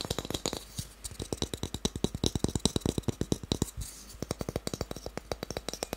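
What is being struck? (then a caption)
Small wooden cube. A small, solid, pale wooden cube held in the hands is tapped quickly with fingertips and nails, giving a rapid run of about 41 short, dry wooden knocks. Each tap has a low, hollow body around 200 Hz with a bright clicky edge and dies away almost instantly. The taps slow briefly just before the 4-second mark, where a softer rustle is heard, then the fast tapping resumes.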